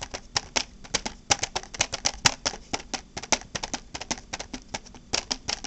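Long black-painted nails tap and scratch a small, flat, hollow, transparent hard plastic case with red contents inside. Around thirty quick, crisp, bright clicks come in an uneven, rapid run, each dying away almost at once, with faint scratchy rustle between them.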